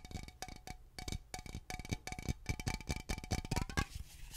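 Long fingernails tap rapidly on a hollow Glade aluminum aerosol air freshener spray can held close to the microphone. The quick, clicky taps carry a faint metallic ring over a soft, thumpy low body, and they grow denser and louder before ending in a brief bright hiss.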